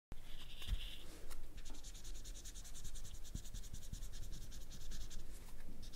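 A felt-tip permanent marker is rubbed and scratched over the tip of a whole ripe yellow banana with brown spots, a solid fruit in its peel, lying on a black mat while the other hand holds it. A thin squeaky tone near 3 kHz opens the clip, then a steady, fast, dry scratching rasp with bright high texture continues over a faint low rumble.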